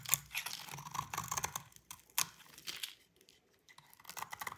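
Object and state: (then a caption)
Dry soap bar being scraped. A utility knife blade scrapes curled flakes off a solid white bar of dry soap held by fingers with long pink nails. The sound is a quiet series of dry, crisp, bright scraping and crackling strokes with little low end, pausing briefly near the middle before resuming softly.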